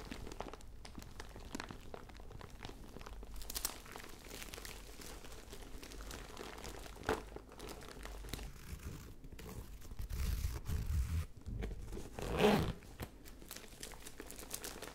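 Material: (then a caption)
Fabric. A hollow lilac fabric zip pouch with sequin lettering is held close and scratched and squeezed with long nails and fingertips. Soft, steady crinkling and scratching sit over a low rumble. The sound swells into louder rustling bursts near the end, with one sharp crunch before it settles back down.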